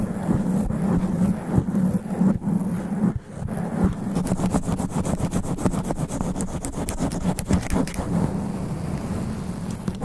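Black extra-long nails scratch quickly and aggressively across the thick sponge foam cover on the head of a large cylindrical studio microphone. The result is a dense, low, rumbling scratch with rapid crackling strokes and a steady hum around 200 Hz.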